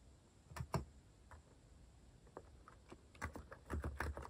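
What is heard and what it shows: Fingertips type on a compact white-cased mechanical keyboard with cat-themed plastic keycaps. Irregular, soft, low thocking clacks come in quick clusters near the start and again toward the end, with sparser single taps between. Each keystroke dies away almost at once.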